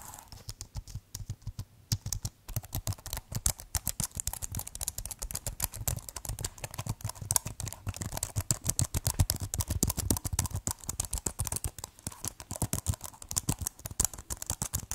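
Fingertips type rapidly on the keys of a keyboard with a white plastic case, making a dense, steady stream of short clacks. Each keystroke has a heavy low thump with a bright click on top and no ring, with a brief lull near the two-second mark before the typing picks back up.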